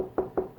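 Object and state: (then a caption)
Solid drywall over a stud. Three knuckle knocks on a drywall (sheetrock) wall over a wooden stud give short, dull thuds with a low-mid tone and almost no ring. They sound solid rather than hollow because the board has no room to bounce over the stud.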